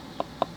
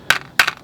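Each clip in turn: First: rubberized water container, quiet when tapped. Second: hard plastic water container, loud when tapped.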